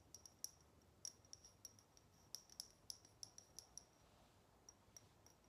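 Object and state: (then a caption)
Metal salt shaker tapped with fingernails. Long nails tap a small, hollow, shiny chrome metal cat salt shaker on its body and ears as it is turned in the hands. The result is a quiet, irregular series of sharp, dry ticks with a high metallic ping that dies away almost instantly, separated by short pauses and a faint low hiss.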